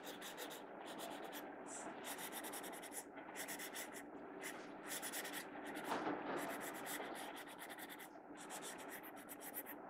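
A blue mechanical pencil draws on the right-hand page of an open paper sketchbook lying flat on a wooden table, its graphite tip scratching across the paper. Quiet, steady bursts of dry, bright scratching and rubbing strokes repeat irregularly with brief pauses throughout.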